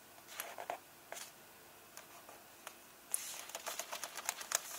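Fingertips and nails rub and tap the paper pages of an open hardcover book, staying on the same illustrated spread. Soft, dry brushing and light clicks come in short bursts, then turn into denser, brighter scratchy rubbing with sharp taps for the last couple of seconds.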